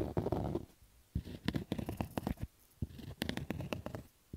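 Fingers scratch fast over the stitching on the hollow crown of a black cotton baseball cap. The result is a series of rough, low, muffled scratching bursts in irregular fast strokes, separated by brief quiet pauses, with little high-end brightness.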